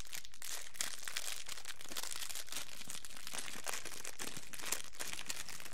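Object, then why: Thin plastic cellophane wrapper. An empty, thin, transparent plastic cellophane wrapper is handled with the fingertips, crinkled and spread open between both hands. It makes a steady, dense, bright crackle that continues without a break for the whole clip.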